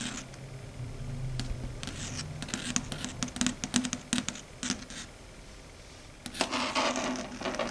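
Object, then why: Chalkboard surface. Very long red stiletto nails tap and lightly scratch a flat, matte, dark grey solid chalkboard. Quick, irregular clicking taps with a bright edge come over a low hum in the first seconds. A quiet pause follows, then a denser burst of bright scratching near the end.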